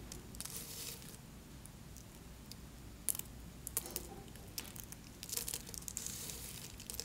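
Small, solid pink soap flakes resting on paper are crushed and snapped apart with fingertips and nails, then rubbed and pressed into smaller bits. Quiet, bright crinkling and crunching comes in bursts over a low steady hum, with a few sharp, crisp snaps standing out near the middle.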